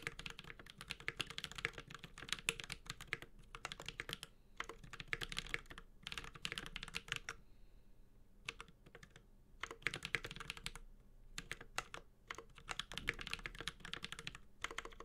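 A Space65 Cybervoyager 65% mechanical keyboard with an aluminum case, Holy Panda switches and ABS keycaps is typed on continuously with the fingertips of both hands. It makes rapid bursts of bright, crisp clacks with a short, dull low thock beneath. The bursts break up with brief pauses, the longest near the middle.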